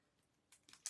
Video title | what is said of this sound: RHwL S13 E6 - CHRISTMAS CRAFTS | You can hear the little thing in there to get the ink or paint going.